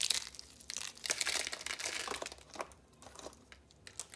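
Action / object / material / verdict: scrape / thin rolled soap curls / soap / none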